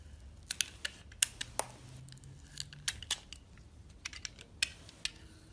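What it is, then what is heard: Soap bar being sliced. A metal box-cutter blade slices thin strips off the outer layer of a solid purple and lilac soap bar held in the hand. About sixteen crisp, bright cutting clicks and short scrapes sound quietly, each stopping dead with almost no ring, over a soft low rumble.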